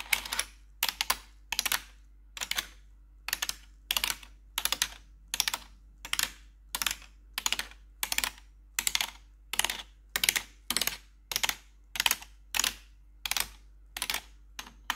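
Long pointed metal nail tips worn over blue gloves tap and press the keys of a black plastic RGB backlit computer keyboard. Bright, sharp clicks and clatters come in quick, evenly spaced bursts, each dying away almost instantly. A faint, steady low hum sits underneath throughout.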